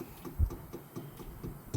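A bent truck part near the hood latch is tapped during an outdoor truck inspection to tell its material. A series of dull, low, short knocks sounds with almost no ring. The tap sound and the part's light weight mark it as aluminum, not the steel it was first thought to be.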